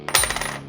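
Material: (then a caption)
Plated copper. A counterfeit bar stamped 999 silver, actually silver-plated copper with its weight slightly off one troy ounce, is dropped or struck. It gives a short, bright metallic clink with high ringing overtones that fade within about half a second. The tone is dull rather than the distinctive ring of real silver, marking the bar as fake.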